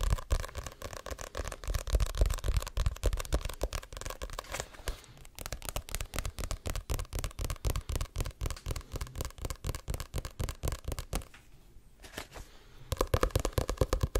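Fingertips and short nails tap and scratch the glossy card cover of a Diary of a Wimpy Kid paperback, a solid paper book. A dense run of quick, dull taps thuds low, with short scratchy bursts between them. The tapping eases to a softer scratch for a moment near the end before picking back up.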